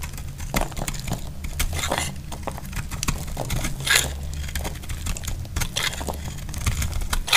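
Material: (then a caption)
Soap. A utility knife blade shaves and chips flakes from a solid, dry lilac soap bar held in the hand. Dense crackling and crunchy scraping build into bright bursts over a steady low rumble, with many quick dry ticks as the flakes break away.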